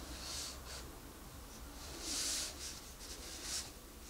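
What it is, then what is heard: Pencil coloring on a paper page. A wooden colored pencil scratches and rubs across a paper coloring book page in dense, quick coloring strokes. It makes a soft, bright, hissy scratching that swells in bursts, loudest around the middle, over a faint low hum.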